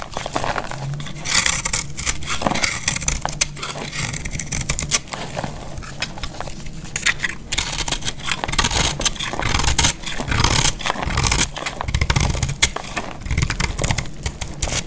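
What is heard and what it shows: A metal blade carves a solid, dried yellow bar of soap held in the hand, producing a dense, continuous run of dry, gritty scraping and crackling with bright, crisp edges and some low rumble underneath. Flakes crumble away steadily throughout.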